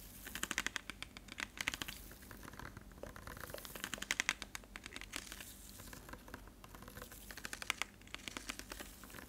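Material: Plastic.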